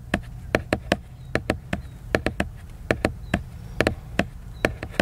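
A book's surface is scratched and tapped with the fingers, giving a series of 18 short, sharp, dry clicks with a faint rubbing texture, spaced unevenly over a steady low background rumble. Each hit dies away almost at once, with a mid tone near 620 Hz and bright edges.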